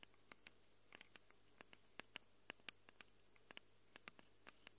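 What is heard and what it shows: Long acrylic nails rapidly scratch and tick against the metal mic capsules of a small black handheld Tascam recorder. About twenty short, sharp, bright clicks sound at an uneven pace, each dying almost instantly, over a quiet, steady low hum.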